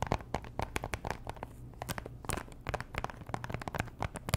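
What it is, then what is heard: Cellophane-wrapped cardboard box. Long nails tap and scratch a small pink Chanel perfume box made of cardboard and likely still in its cellophane plastic wrap, the hollow box giving a rapid, uneven series of short, dry clicks and crinkly scrapes. Each tap is a sharp, bright tick that dies away almost instantly, over a faint steady low hum.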